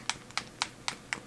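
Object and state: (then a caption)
Paint bottle with a mixing ball inside. A sealed plastic bottle of acrylic hobby paint is shaken to mix its separated, settled paint, making the mixing ball inside rattle. Five sharp, bright clicks sound at a steady rhythm with very little low end. The rattle confirms there is a mixing ball inside the bottle.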